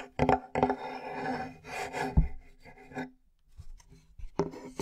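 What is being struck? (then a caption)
Flat plywood board. A large, flat, light plywood board, solid and held in both hands, is scratched and rubbed across its surface with fingernails. Rough, raspy scraping comes in uneven bursts with sharp attacks, mostly low and dull with little bright content, separated by short quiet gaps.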